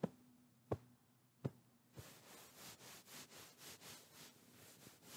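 Fingertips tap and pat a medium, soft white fabric pillow held in front of the microphone. Three separate, soft, low thuds come first, then a run of quieter, rhythmic pats with a bright, breathy fabric rustle.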